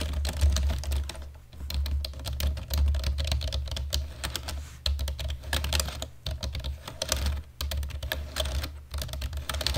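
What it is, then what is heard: Plastic computer keyboard being typed on. Fingertips of both hands type fast on a black plastic computer keyboard. Quick, bright plastic clicks run in a dense, uneven stream with short pauses, over a steady low hum.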